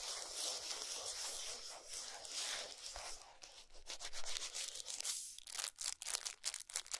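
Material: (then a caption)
Cardboard. Long nails scratch and tap the back of a gold cardboard chocolate box with a nutrition label, lying flat on a towel. A steady, bright, papery scratching fills the first five seconds, then gives way to quick, dry taps with short gaps between them.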